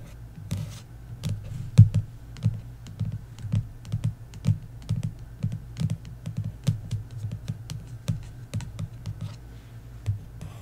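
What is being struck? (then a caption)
Paperback book with card cover. A paperback novel, The Inheritance Games, lies flat while long nails tap and scratch its card cover with embossed details. Soft, dull taps come in an uneven run with brief scratchy strokes between them. The sound is mostly low thuds around 110 Hz with very short ring and faint bright clicks.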